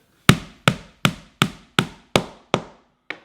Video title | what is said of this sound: Munchie Monster Character Building Kit - Build Instruction Video | listen for the change in sound